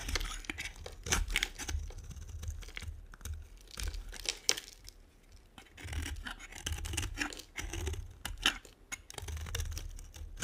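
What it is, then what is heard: Dry bar soap being carved. A metal blade cutter scrapes and carves thin shavings off one end of a solid, hand-sized bar of dry brown and white striped soap held in one hand, and the shavings pile onto a white table. The result is a quick series of dry, crisp scraping and crackling strokes with bright, high detail over a soft low rumble, and each stroke ends abruptly.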